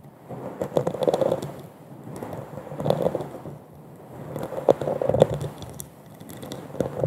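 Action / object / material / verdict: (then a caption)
scrape / glass wine goblet with a dimpled surface / glass / none. An empty, hollow wine goblet of textured, dimpled glass is held upside down over a fluffy microphone while long acrylic nails tap and scratch its bowl. Soft scratchy rustling rises and falls in slow swells, dotted with sharp clicky taps and a faint glassy tone near 520 Hz.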